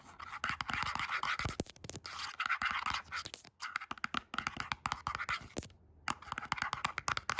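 Long acrylic nails rapidly scratch and tap the printed surface and edge of a small cardboard box with a batch/expiry label on its side, apparently hollow. Fast, dry scratching bursts with a bright, papery rasp are punctuated by many sharp, quick taps, pausing briefly twice before resuming.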